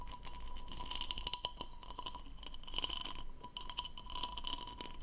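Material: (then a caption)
Plastic. Long nails scratch the diamond-textured bowl of a hollow, empty blue plastic goblet held in both hands. The result is a run of quick, bright scratchy clicks and rasps with a faint steady tone near 1 kHz underneath, and each stroke stops almost at once with no ring.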